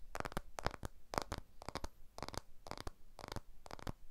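A blue iPhone 12 with a glass back and aluminium frame is held edge-on in both hands while fingertips and nails tap and scratch along its aluminium frame. Quiet, dry clicking taps come in quick clusters at an uneven rhythm, each burst bright and crisp but dying away instantly with no ring.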